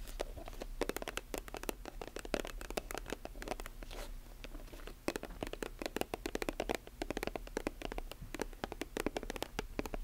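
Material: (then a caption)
Plastic. Long nails tap and scratch a silver metallic plastic lotion tube and its chrome cap. The result is a dense run of quick, dry clicks and scratchy scrapes that die away almost instantly, over a steady low hum. The tapping thins out briefly around the middle, then picks up again.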